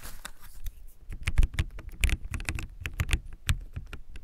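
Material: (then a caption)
Plastic. Fingertips type quickly on a backlit plastic mechanical keyboard with white plastic keycaps, giving fast, short tapping clicks. Each keystroke is a brief click with a dull low thump and a bright edge, with faint hiss between strokes.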